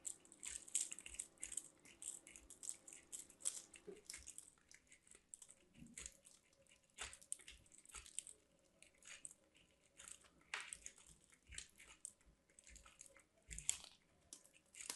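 A hand with long black nails rubs a white solid soap bar against a small stainless steel box grater in a grating, scraping motion. Quiet, dense, bright scratchy rasps come in quick bursts, with faint softer crumbly sounds beneath.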